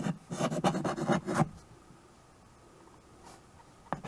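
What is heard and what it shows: White chalk held in the fingers writes on a small handheld chalkboard with a wooden frame, scratching across the board surface. A quick run of about seven rough, rasping strokes fills the first second and a half, followed by near silence, a faint stroke, and one short scrape at the end.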